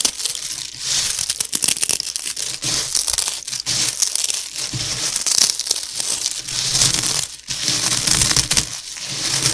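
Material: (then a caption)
Puffed cereal. Both hands press and rub their fingers through a heap of dry, crispy, broken puffed cereal pillow pieces, crushing them. The result is a dense, continuous run of bright, crisp crackling and crunching, almost entirely high-pitched with very little low end, and a brief lull about three-quarters of the way through.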